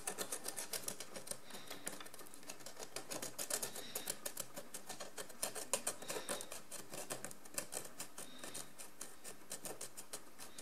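A wooden stick held in the fingers scrapes the pale crusty deposit coating a large ribbed ceramic jar lying on its side, using rapid strokes. The result is a dense, irregular stream of bright, dry scratching clicks that runs steadily for about ten seconds, with sharper flicks standing out here and there.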